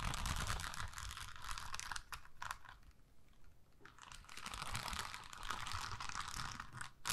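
Long acrylic nails scratch and tap across a thin, flexible adhesive sheet covered in rows of small pink plastic rhinestones on a clear plastic backing. The result is a dense, bright, crinkly stream of rapid scratches and clicks that eases off into softer, sparser tapping midway, then builds back to busy scratching.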